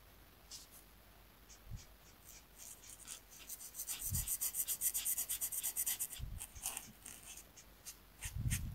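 A marker tip held in the fingers rubs and strokes across a thin, solid, flat paper coloring sheet resting on a desk mat while coloring in a zigzag area. Quiet, bright scratchy strokes build into a fast run of rhythmic back-and-forth scribbling in the middle of the clip. Occasional soft low thumps come through the mat before the strokes fade back to sparse scratches.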